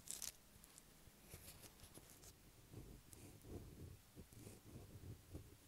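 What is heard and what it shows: Long black acrylic nails on both hands scratch the top of a light blue solid bar of soap lying on a table. The result is a quiet, crisp scraping with a bright hiss at the start, followed by soft, irregular low rustling and tapping bursts.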